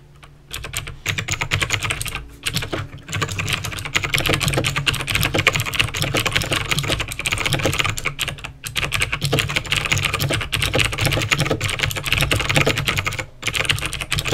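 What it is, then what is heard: Plastic mechanical keyboard. Fingertips type steadily on a backlit plastic mechanical keyboard with clicky green switches. A dense stream of sharp, bright clicks runs throughout, with brief pauses near 0.5, 2.3, 8.6 and 13.3 seconds. A steady low hum sits underneath the whole clip.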